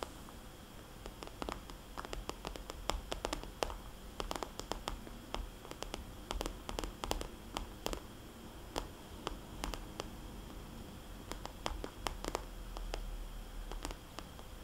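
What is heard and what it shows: Long painted fingernails tap and scratch across the glossy coated plastic/vinyl surface of a small, soft, hollow red polka-dot zippered cosmetics bag. The result is a quiet stream of sharp, dry, bright clicks in irregular bursts, mixed with faint scratching over a low, steady rumble.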